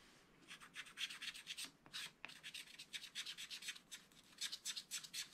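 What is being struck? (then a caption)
Wax-coated scratch-art paper and wooden stylus. A wooden stylus scratches the lower part of a black wax-coated sheet on a small spiral-bound scratch-art pad. A quiet, rapid series of short, bright, dry scratching strokes rasps on and off, with a couple of sharper ticks midway.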